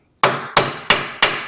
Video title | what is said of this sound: Ford f150 rear "axle repair bearing" replacement (leaking axle seal) | you hear that solid sound versus that other one that means that we're fully seated